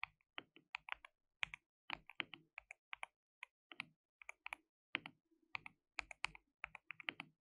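Fingertips rapidly type on a white RGB-backlit compact mechanical keyboard with plastic keycaps and a hollow case. Dozens of quick, bright, dry clacks come in uneven bursts, each dying away almost instantly with almost no low end. The result is a steady, quiet patter of crisp plastic key clicks.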